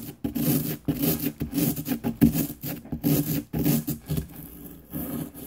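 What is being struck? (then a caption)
Plaster excavation block. A small, solid green plaster excavation block from a diamond dig kit sits on a paper plate and is scraped with a small light-colored pick tool held in the fingertips. Repeated gritty, rasping scrape-and-rub strokes come in bursts separated by short pauses, with a dull low-mid body and a faint airy hiss above.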